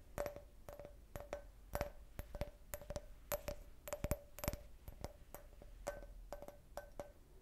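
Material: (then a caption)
Glass. An empty, hollow clear glass cup shaped like a beer can, with a printed logo, is held in the hand and tapped with long red-painted nails. The result is a quiet, uneven series of short, sharp clicks with a faint glassy ring near 600 Hz and a little high sparkle.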